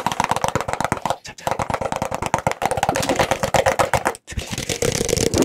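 Fingertips and nails tap and scratch the outside and open rim of an empty, small, hollow white plastic cup held close to the microphone. Rapid, irregular taps give hollow plastic clicks with a tone around 900 Hz, broken by brief pauses. Near the end the sound shifts to brighter, hissy scratching.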